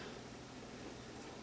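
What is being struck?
Nothing is struck.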